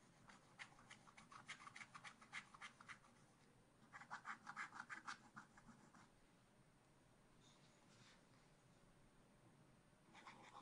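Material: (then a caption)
Coated paper. A wooden stylus scratches and rubs away the coating on a black-coated scratch art card in a spiral pad. Quick, bright, dry scratching strokes come in rapid bursts, with a pause in the middle and a few fainter strokes near the end. The strokes are quiet and close, with little low end.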